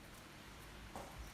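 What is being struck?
Nothing is struck.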